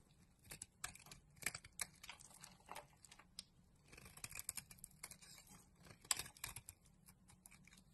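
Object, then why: Bar of soap scraped with a knife blade. A solid green bar of soap covered in flakes, held in the palm, is scraped with a utility knife blade. The result is a quiet series of crisp, bright scraping and shaving sounds with sharp, dry ticks, each cutting off quickly with almost no ring.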